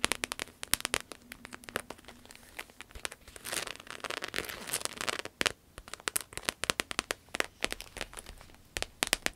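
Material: Vinyl.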